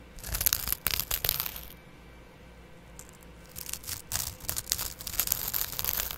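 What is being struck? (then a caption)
Abrasive scouring pad on foam sponge. A small double-edge razor blade held in the fingertips scratches across the dark green abrasive scouring layer of a dry, hand-sized kitchen sponge with soft yellow foam, held in one hand right in front of a black microphone stand. Bright, crisp rasping and tearing bursts fill the first couple of seconds, then fall to near silence. The scratching resumes in quick, uneven strokes until the end.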